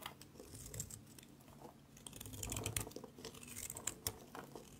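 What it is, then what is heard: Dry soap bar being scraped. A utility knife blade repeatedly scrapes shavings off the face of a solid gray, palm-sized dry soap bar held in the hand. The result is a steady run of dry, crinkly, crunching scrapes with bright, sharp ticks over a low rustle. The bar's face ends up smoothed.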